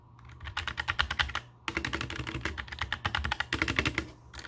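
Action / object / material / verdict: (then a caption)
tap / mechanical keyboard with plastic keycaps / plastic / none. Fingertips type on a compact black mechanical keyboard with plastic keycaps resting on a table. Quick, sharp clicky keystrokes come in three bursts with brief pauses between them, over a faint steady low hum.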